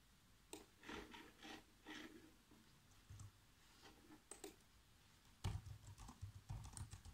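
Fingertips type sparse, irregular taps on the black plastic keys of a laptop keyboard. Each keypress gives a soft, short click with a dull low thud and almost no ring. The taps come in loose clusters with brief pauses between them, and they grow busier and slightly louder toward the end.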